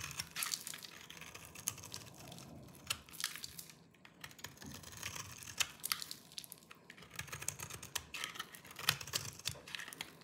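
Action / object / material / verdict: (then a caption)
scrape / bar of soap scraped with a small knife / soap / none. A small knife with a yellow-tan blade shaves and scrapes the surface of a hand-sized, solid bar of dry green soap held in one hand, and crumbly flakes fall away. It makes quiet, bright, crunchy scraping with rapid, sharp crackles and clicks that stop dead, with little low end.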